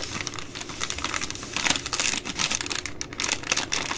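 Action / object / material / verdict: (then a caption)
scrape / plastic-wrapped baby wipes multipack / plastic film / none. Long nails tap and scratch the side of the plastic overwrap on a full three-pack of baby wipes. The result is a dense, bright run of crinkling taps and scratchy rustles, with little low end and quick, short decays.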